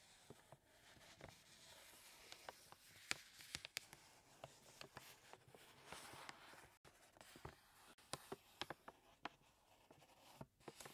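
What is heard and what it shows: Bare fingertips press and rub a large, full paper bag of flour resting on a wooden table, then the bag is lifted and handled. The sound is a quiet, bright papery rustle and scratching, punctuated by many short, sharp crinkles and crackles with almost no low end.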